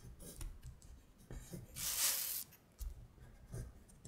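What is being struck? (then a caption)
Thin printed paper sheet on a hard surface. Long stiletto acrylic nails trace the words on a thin printed paper worksheet of Korean colors lying flat on a glittery surface, making scratching strokes. Soft, low taps and light clicks are interrupted by one longer, bright, hissing scrape in the middle of the clip, and everything stays quiet and close.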